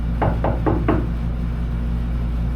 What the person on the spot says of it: when you tap it from the outside, no more tinny sound.